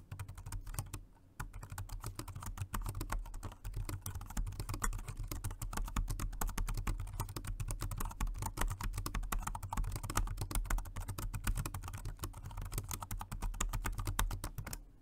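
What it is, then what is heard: Plastic wireless keyboard being typed on. A dark grey plastic Jelly Comb dual-mode rechargeable 2.4G wireless and Bluetooth multi-device keyboard is typed on continuously with the fingertips of both hands. The result is a rapid, steady stream of short, dull key taps with a low, thumpy body and little brightness, pausing briefly near the start before running on to the end.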